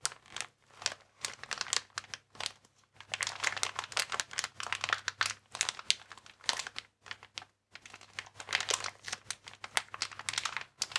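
A transparent, air-filled plastic air column cushion bag, inflated packaging with vertical air columns, is held and squeezed with the fingers. It gives dense, bright, crackly crinkling in bursts of sharp, dry snaps, with short pauses near 2.5 and 7.5 seconds.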